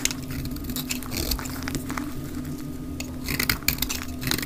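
A mint-green dry soap bar is shaved along its rounded edge with a utility knife blade, played at 2x speed, with the flakes falling onto a pile. Bright, crisp scraping and crackly ticks come in quick bursts over a steady low hum.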